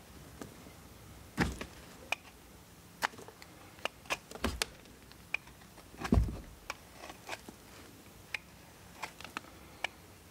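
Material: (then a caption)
Soap. A steel multitool knife scrapes shavings off a solid blue bar of soap held in hand. It makes a series of short, crisp scraping clicks with bright edges against a quiet background. Two heavier, duller scrapes stand out near the start and just past the middle.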